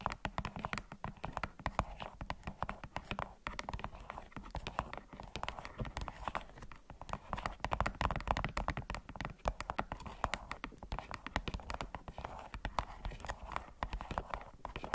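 A small, hollow white plastic LED remote control with rubber buttons, lying on a beeswax wrap, is tapped and clicked with long acrylic nails. The result is a rapid, continuous stream of short, dry clicks and taps with a mid-range tone and some low thump. The clicks die away almost instantly.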